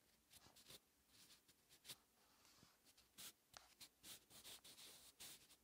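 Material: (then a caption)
Paper. A hand-held wooden graphite pencil writes cursive Hangul on a thin lined paper notebook page lying flat, the same page and pencil throughout. Quiet, bright scratching strokes come in short bursts with brief pauses between them, and there is almost no low end.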